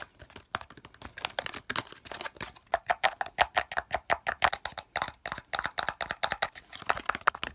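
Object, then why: Small plastic slotted case. Fingertips and nails quickly tap and scratch the sides and edges of a hollow, empty, palm-sized green plastic slotted case. The result is a rapid, steady run of crisp, dry clicks and light scratches with a bright, hollow plastic tone, almost no low end, and no ring after each hit.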